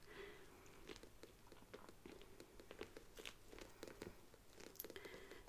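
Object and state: Faux leather handbag.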